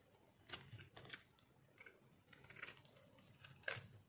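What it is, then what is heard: Dry soap bar, crunchy when cut. A metal blade cuts and scrapes the edge of a hand-held, solid, rectangular bar of dry multicolor soap with green and purple marbling. Short, crisp, bright crunching and scraping bursts come in an uneven series, separated by quiet pauses.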